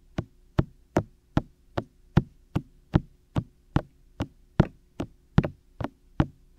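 Fingertips of both hands tap and lightly knock on the white hollow silicone ear shells of a 3Dio microphone in a steady pattern. Seventeen short, dry, low thumps, each with a brief bright click, come at roughly even spacing, with no ring between them.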